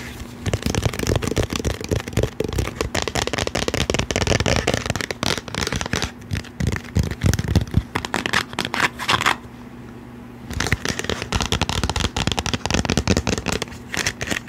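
Long painted nails tap and handle a hollow cylindrical plastic Lysol disinfecting-wipes canister, likely partly full, held close to the mic, working over its side and lid. Rapid, dense clicky taps and scratchy rustles ride over a low, hollow body tone. The tapping pauses briefly for about a second near the ten-second mark, then resumes at the same busy pace.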